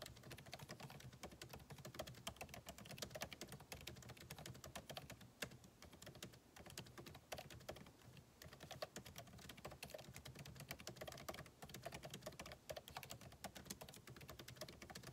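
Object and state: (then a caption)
Laptop keyboard typing. Fingertips of both hands type rapidly on the backlit keyboard of a MacBook Pro, its plastic keycaps set in a solid aluminum body resting on a desk. A steady stream of quick, dry clicks and taps with short decay carries a low thump under bright key clatter.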